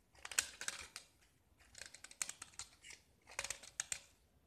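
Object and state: Gypsum brick scraped with a knife.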